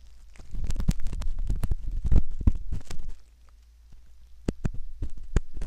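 A metal ear pick scratches at the canal entrance of a soft silicone ear model, making close, deep rumbling scrapes and crackly taps with a low thumping body. After a dense stretch of scraping there is a brief near-quiet pause, then sharper clicks and scratches resume.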